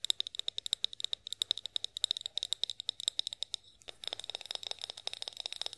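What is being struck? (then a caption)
Glass oil bottle tapped with fingernails. Long nails tap rapidly on a tall, hollow, clear glass olive oil bottle with a pour spout, making dozens of sharp, dry clicks, each with a brief bright glassy ping near 3.7 kHz. After a short pause, the tapping resumes faster and denser, with a slightly rattling, scratchy edge.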